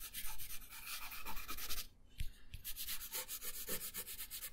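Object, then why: Paper sheet shaded with a colored pencil. A colored pencil shades a thin paper coloring page resting on a wooden table, making rapid, bright rubbing and scratching strokes. The strokes pause briefly near the middle, where two soft low thumps are heard, then resume at a steady pace until the end.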